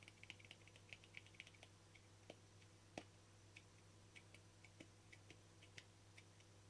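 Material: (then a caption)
Plastic. A small, round, hollow lid of translucent frosted plastic is held in the fingers while fingernails tap and scratch its face and ridged rim. About two dozen quick, bright clicks come fast at first and then space out, with a soft scratchy texture between them. A steady low hum runs underneath throughout.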